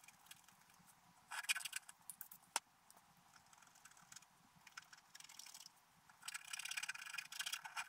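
A wooden stylus scratches details into a flat black-coated scratch art paper page, making bursts of dry, bright scraping with short pauses between strokes. A single sharp tick sounds partway through, and the scratching grows denser and louder toward the end.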